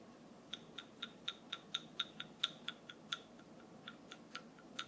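A wooden massage tool is tapped sixteen times at an uneven pace, each tap a short, dry, bright click that dies away almost instantly. A faint, steady hiss sits beneath the taps.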